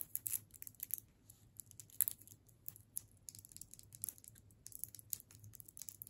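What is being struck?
Hard candy cane in a plastic wrapper.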